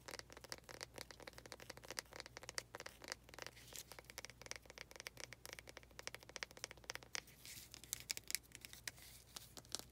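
Long nails tap and scratch on a small faceted wooden planter pot, making quick, dry, bright clicks and scrapes that fall in a dense, uneven stream with a faint steady low hum underneath. The taps are short with almost no ring, and the scratching gets brighter and more hissing toward the end.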